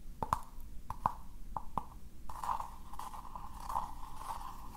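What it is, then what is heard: Recycled paper cup scratched. A small, hollow, empty cylindrical cup of rough recycled paper is held in the hands while fingertips and nails scratch and rub its inside and outside surfaces. Several short, sharp scratchy taps come first, then give way to a steady, papery scraping. A hollow midrange resonance near 900 Hz colors the sound throughout.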